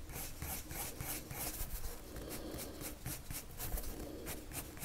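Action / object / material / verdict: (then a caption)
scrape / paper drawing sheet scratched by a wood-cased pencil / paper / none. The tip of a pink-striped, wood-cased colored pencil, held in the fingers, rubs and scratches across a thin white paper sheet lying flat on a table in repeated short drawing strokes. Each stroke makes a soft, bright, raspy scratch over a steady low rumble, and the strokes keep a quiet, even rhythm throughout.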